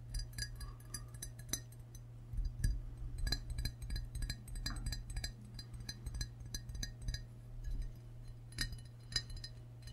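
A medium glazed ceramic frog mug with a handle, hollow and seemingly empty, is held in both hands and tapped on its glazed body with short fingernails and fingertips. The result is a quick series of light, bright clinks with short ringing tones over a steady low hum.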